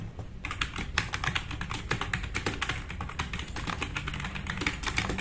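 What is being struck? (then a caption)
Plastic mechanical keyboard. Both hands type fast with their fingertips on a compact RGB-backlit mechanical keyboard with black plastic keycaps, resting on a wooden desk. The result is a rapid, continuous stream of bright, sharp plastic clacks that decay almost instantly. A steady low hum runs underneath.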